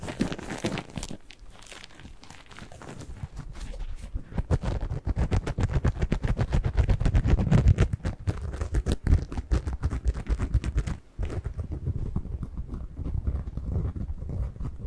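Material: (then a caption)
Cellulose. A single porous yellow-and-green cellulose kitchen sponge is squeezed and scratched with fingers up close. It makes a dense run of soft, crackly crunching and scratching, heavy in the low end, with a brief pause near eleven seconds before the scratching resumes.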